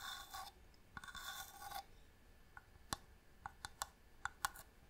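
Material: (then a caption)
Wood. A small, hollow wooden box with a marquetry inlay lid, held in hand, is scratched with long nails in two bright, raspy bursts. These are followed by a series of crisp, short taps that click sharply with almost no ring.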